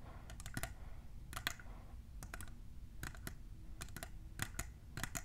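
Long nails fitted with plastic clips tap on a tall, hollow, clear printed plastic tumbler, making quick, sharp, bright clicks in irregular bursts. Each tap is dry and dies away almost at once, over a steady low background hum.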